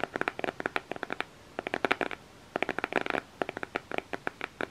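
Fingernails tap and scratch the black cardboard cover of an eyeshadow makeup palette held in both hands. About 28 short, dry, crisp clicks come in quick bursts separated by brief pauses, with a bright papery midrange and almost no low end.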